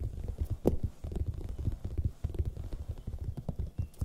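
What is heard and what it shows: A large, hollow, raw red bell pepper is tapped quickly with long nails and fingertips, held close to the mic. The result is a steady stream of soft, dull, low thumps with brief sharper clicks, each dying away almost at once.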